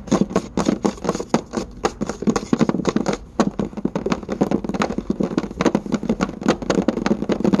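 Several hands tap and scurry quickly with their fingertips and nails across a solid varnished wooden tabletop. A fast, uneven run of about forty short, dry knocks with a woody low-mid body and faint nail clicks, each dying almost instantly with no ring.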